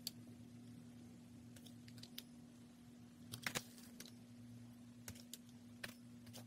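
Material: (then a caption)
Soap. A solid, palm-sized pink bar of soap, held in black-gloved hands, is shaved with a steel utility knife blade, scraping off thin curls. Short, crisp, bright scraping ticks come in scattered bursts, with a small cluster near the middle. They sit over a quiet, steady low hum.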